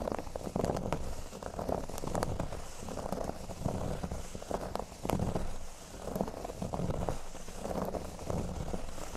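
Fingernails scratch the surface of a flat, thin, solid cork board lying on a table. The result is a steady run of soft, dry, crackly scraping strokes, weighted toward low tones, with brief brighter scratches.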